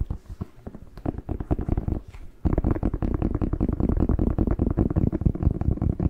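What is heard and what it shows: Fingertips tap and nails scratch on the glossy skin of a whole, fresh, hollow, hand-sized red bell pepper. The rapid taps sound dull, low and hollow, with no ring. They stay quiet for the first couple of seconds, then turn louder and denser for the rest of the clip.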